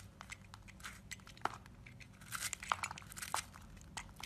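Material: Soap.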